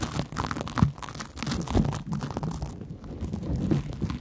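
A large, porous yellow cellulose sponge is scratched with long nails and rubbed with fingertips. The result is a steady, dense, low-heavy scratchy rustle with crinkly, crunchy texture. Slightly louder bursts come near 0.8, 1.8 and 3.7 seconds.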